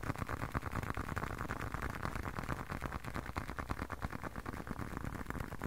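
A closed, hand-sized blue leather long wallet is tapped and scratched with fingertips. Quick, irregular, dull taps blend with soft scratching in a low, muffled texture. Each tap dies away almost instantly, with no ring.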